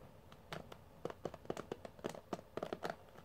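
Fingertips and nails scratch and strum across the bristle pad of a pink plastic paddle hairbrush with metal pin bristles. It makes a quick, uneven series of short, dry plucking ticks with a faint midrange twang and bright scratchy edges. Each one dies away almost at once, leaving a soft hiss between strokes.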